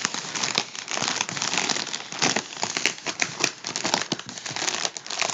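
Fingertips pinch and crinkle the crimped seam of a hollow, partly deflated gold mylar foil balloon. The result is a steady stream of bright, crisp crackling that lasts the whole time, with sharp snaps poking out of the dense rustle and almost no low end.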